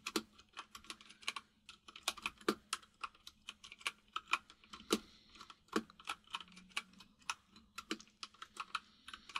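Fingertips of both hands type on a full-size plastic mechanical keyboard with white and grey plastic keycaps and a hollow case. A steady run of short, bright clicky key taps comes at an uneven typing rhythm, with a faint low hum underneath.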